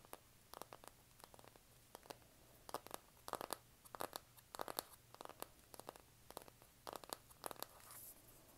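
Long nails scratch across the cover of a flat, rectangular, hand-sized pink printed cardboard eyeshadow palette. Short, dry, bright scratches come in quick bursts and clusters, each dying away instantly, over a faint low hum. The result is a crisp, papery scratching texture.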